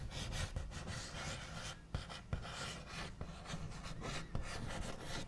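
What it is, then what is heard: Wooden table scratched with fingernails. The backs of fingernails scratch and trace across a wooden table, making a steady, dry rasping rub with a few sharper taps standing out. The sound is mostly low and dull, with a thin bright scratchy edge on top.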